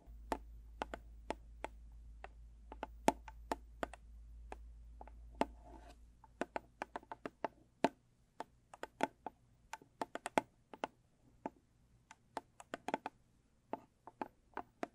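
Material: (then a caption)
Cardboard. Long pointed black-purple acrylic nails tap and scratch the lid of a small square blue textured cardboard gift box. Dozens of crisp, dry clicks are heard, irregular and quick, each dying almost instantly. A low steady hum sits under the first six seconds, then fades, leaving the taps against near silence.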